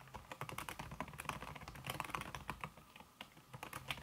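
Fast fingertip typing with red-painted nails on a slim backlit aluminum keyboard whose keys are covered by a red silicone skin. Dense, rapid soft key clicks with a muted, damped quality, short decay and a mid-range tone around 1.1 kHz, plus some bright tick edges and a low thumping undertone.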